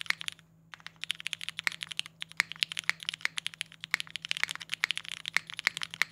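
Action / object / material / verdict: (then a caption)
tap / mechanical keyboard with polycarbonate case and ABS keycaps / plastic / none. Fingertips type quickly on a compact Singa Kohaku R2 mechanical keyboard with a polycarbonate case and GMK Boneyard ABS keycaps. It makes a steady stream of sharp, bright, clacky keystrokes with almost no ring, broken only by a brief pause just after the start, plus a faint low steady hum underneath.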